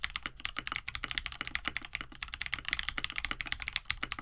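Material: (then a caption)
Plastic. Both hands type steadily with fingertips on a compact 65% KBD67 Lite mechanical keyboard (plastic case, FR4 plate, lubed KineticLabs Hippo linear switches, blue and white PBT keycaps) resting on a desk mat. About two dozen quick, dry key presses come in a continuous stream, each a short, bright clack centered near 2 kHz that dies away almost instantly, with little low-end weight.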